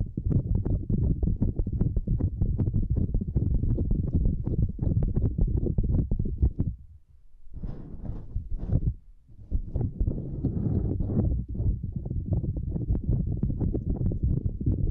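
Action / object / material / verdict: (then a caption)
scrape / silicone lattice mat / silicone / none. Long nails on both hands scratch and tap a small, flat purple silicone lattice mat, making a dense stream of soft, muffled, low thumping taps. Around the middle the tapping briefly drops away, giving way to a few brighter, raspier scratching strokes before the rapid tapping resumes.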